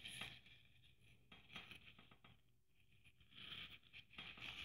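Long nails scratch and tap across a hand-sized, red sequin-covered Christmas ornament trimmed with gold braid and a metal cap. The result is a quiet run of bright, crinkly scrapes and light, quick taps with little low end, fading briefly in the middle before the rustling picks up again.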